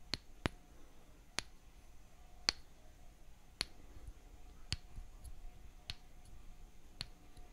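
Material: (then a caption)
Wood. A toy-sized light wooden mallet held in one hand taps a thin solid wooden stick held upright in the other hand. Eight short, dry knocks with a bright, clicky top ring out at uneven intervals and stop almost instantly. The taps are quiet against a faint, steady background hiss.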